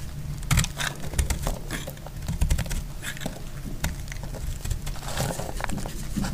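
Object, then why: Soap bar cut with a blade. A solid, dry red soap bar held in the fingers is carved with a snap-off utility knife blade, giving a steady cutting scrape. Short, dry cracks and crisp ticks sound as chunks crack off. The clicks are bright, over a low rumbling base.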